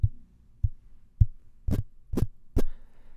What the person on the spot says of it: you can hear that there are no kind of resonances that are being picked up by the microphone's body or the grill